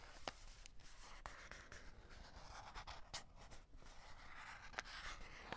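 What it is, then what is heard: Cardboard chocolate box with plastic window, full. Fingertips and short nails scratch across the clear plastic window and cardboard edges of a full cardboard chocolate box. A soft, steady rasping hiss runs throughout, broken by occasional sharp, bright ticks as the nails catch.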